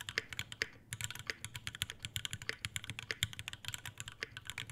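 Both hands type continuously with fingertips on an Iron180 tenkeyless mechanical keyboard with Alpaca V2 switches, white ABS keycaps, a brass plate, a brass bottom and a dark metal case. A rapid, steady stream of crisp, bright keystrokes over a low thock, each clack dying away almost instantly, with only a brief pause just before the first second.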